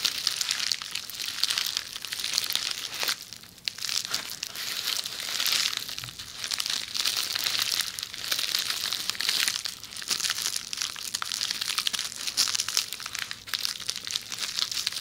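Long nails scratch and squeeze along a rolled tube of red plastic bubble wrap beside the microphone. A dense, steady stream of bright crinkling and crunching fills the whole clip, with almost no low end and only brief dips in loudness.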